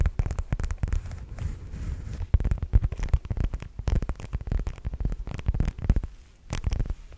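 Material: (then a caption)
Faux leather. A black zip-around wallet with a metal zipper pull, likely faux leather, soft and hollow, is held near the microphone and tapped and scratched with long nails. Dense, rapid, low muffled thumps and scratchy rustles run throughout, with a brief quieter stretch near the end.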